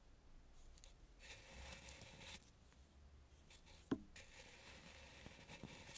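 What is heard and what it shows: A red carved, painted wooden mask face held in hand is swept with a dry bristle brush around the painted eyes. Soft, airy brushing and rubbing strokes come in bright hissing bursts, with one sharper click near the middle.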